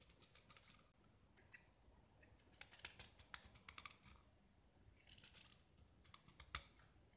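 A small solid gypsum plaster disc painted black is held in the hand and scraped with a utility knife blade, shaving off white plaster. Quiet, bright, dry scratching and crackling come in short bursts, with a few sharper clicks along the way and no ring after each stroke.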